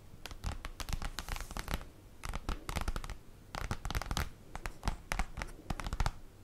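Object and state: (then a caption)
Cardboard folder scratched and tapped with nails. Long acrylic nails scratch and tap across a large, flat black printed cardboard folder lying on a table. Crisp, dry scratching comes in dense bursts with short pauses between them. The dull taps add a soft low thump, and each sound dies away almost at once.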